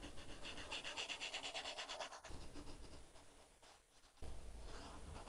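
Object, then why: Plastic stylus on tablet glass with matte plastic film. A plastic stylus tip, held in the fingers, is dragged across an iPad's glass screen covered with a paper-like matte plastic film, making drawing and coloring strokes. A quick run of rhythmic back-and-forth scratches with a bright, papery hiss gives way to softer, steadier rubbing that fades almost to nothing. Then louder, fuller scratching strokes suddenly resume.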